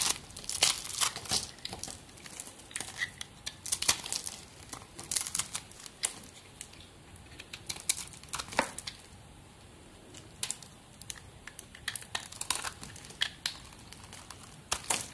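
A metal blade cuts and scrapes small cubes and flakes from a solid white soap bar with remnants of blue glitter, held in the hand. Dry, crisp crackling and crinkly tearing snaps come in quick, irregular bursts, mostly bright with almost no low end. Quieter stretches of faint scraping fall between them.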